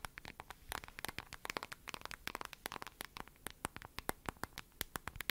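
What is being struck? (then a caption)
Smartphone in a glossy plastic case. Long nails tap and scratch the glossy surface of a lavender plastic-cased smartphone held close to the mic. About 31 quick, sharp clicks ring out, bright and dry with almost no ring, mixed with faint scratchy rustles over a quiet background.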